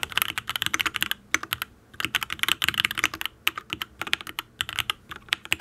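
Fingertips type in quick bursts on a full-size custom Matrix ablex penpen mechanical keyboard with an aluminium case, ABS keycaps and linear Tealios V2 switches. The keystrokes are short, bright clacks that stop almost instantly, with brief pauses between runs.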